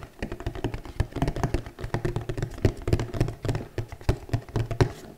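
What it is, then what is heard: Cardboard gift box, hollow. Long nails on both hands tap rapidly on a flat, hollow red glitter cardboard gift box held in both hands. The taps come as a fast, uneven stream of short, dry, hollow thuds with a low, boxy resonance and very little brightness. Each tap dies away almost instantly.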